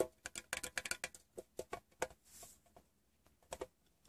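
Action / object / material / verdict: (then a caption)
tap / small closed metal tin / metal / none. A fingertip taps the side panel of a closed, hollow, rectangular printed metal Wrigley's gum tin. Thirteen quick, quiet, dry taps come in an uneven pattern, each a short hollow click with a faint ring near 500 Hz. A soft brushing hiss is heard midway through.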